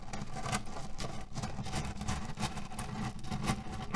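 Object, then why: Cotton pillow filled with cherry pits. Short nails and fingertips scratch quickly across a small cotton pillow filled with cherry pits, rattling the pits inside. The result is a steady, dense rustle with a low, muffled body, cut through by repeated bright scratchy bursts that never fully stop.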